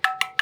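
A spoon taps three times on the metal lid of an empty canning jar. The lid is unsealed with no vacuum, so each tap gives a hollow, ringing knock with a clear tone near 760 Hz. The ring fades quickly, which points to a failed seal.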